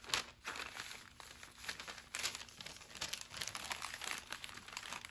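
A thin, flat brown kraft paper bag lying on a wooden table is smoothed flat with fingertips and palms, then folded and creased. Dense, bright crinkling and rubbing paper sounds come in quick, dry bursts with almost no low end.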